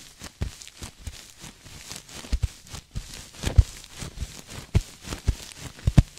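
A cream sequin throw pillow, soft and stuffed and held upright behind the mic, is scratched with long nails and fingertips. Irregular scratching and rustling is heard, broken by short, low, muffled thumps, with faint bright sequin swishes in between.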